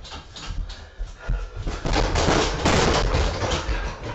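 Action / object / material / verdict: strike / vinyl heavy punching bag / vinyl / none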